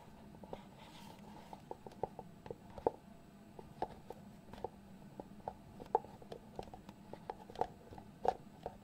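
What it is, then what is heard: Cardboard box lid tapped and scratched. Fingertips scratch and tap the lid of a small, hollow white cardboard box. Quiet, irregular dry taps with a hollow mid-pitched knock stand out over soft, continuous scratching. Each tap dies away almost instantly, over a faint steady hum.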